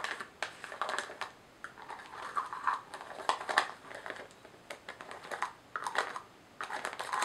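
Long nails scratch and tap on a small glass jar filled with white contents and closed with a white lid. The result is a dense run of quick, dry clicks and scratchy rasps, mostly in the upper mids around 1–2 kHz, with no low end.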